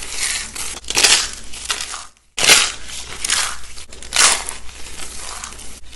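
Fingertips crush and crumble thin strips and rolled ribbons of dry, cream-white bar soap resting on burlap, breaking them into small brittle flakes. Dense, bright crunching and crackling comes in surging bursts, with a brief full stop just past the two-second mark before the crumbling resumes.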